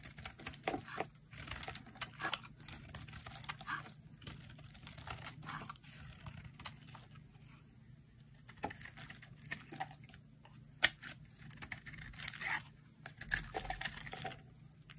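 A hand-sized solid pink bar of dry soap with a crumbly surface is carved with a metal utility blade into curling slices. Crisp, bright scraping and crunchy crackling come in quick bursts, with short sharp snaps between softer shaving strokes and faint low background hum.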